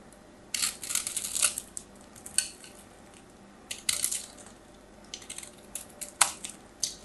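A metal craft knife carves crunchy, dry flakes off the surface of a solid white soap bar. Bright, crisp scraping crackles come in several short bursts separated by quiet pauses, with a sharp crunch near the end. There is almost no low end.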